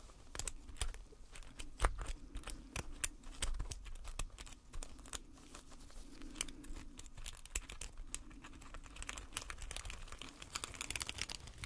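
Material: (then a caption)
Plaster. Gloved hands scrape the chipped face of a solid gold-painted plaster bar resting on a black base with a metal pick, loosening plaster powder. A steady stream of dry, crackly scratches and sharp bright clicks follows, each dying away almost at once, over a faint low rumble that rises and falls.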